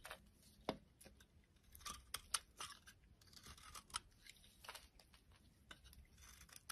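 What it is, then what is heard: Soap bar shaved with a knife. A utility knife blade shaves curls off a solid oval purple soap bar held in the hand, with the curls piling onto a wooden surface. Quiet, bright, crisp scraping strokes come in irregular bursts with very short decays, some sharper cuts standing out above the soft shaving hiss.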